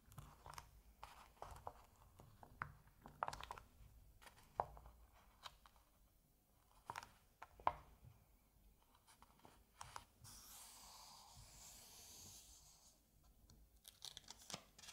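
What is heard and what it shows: A flat hand and fingertips move over the glossy printed paper page of an open Asterix comic album. Soft, irregular paper crinkles and ticks come first, followed by a steady, bright, hissing rub across the page before it is turned with a few more quiet crackles.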